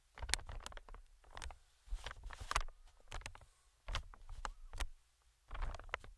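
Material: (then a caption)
Plastic film. Metal tweezers tap and scratch the film of a medium-sized, inflated green plastic air cushion. Quiet clusters of sharp, bright crinkly ticks and scrapes come in bursts over a soft low thumping, with short silent gaps between them.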